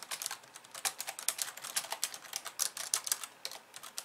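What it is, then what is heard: Plastic computer keyboard. Fast two-handed typing with long painted nails and fingertips on a pink plastic computer keyboard with white keys. A rapid, uneven stream of sharp, bright plastic clicks and clacks is heard, with no low-end thud and each keystroke dying away almost instantly.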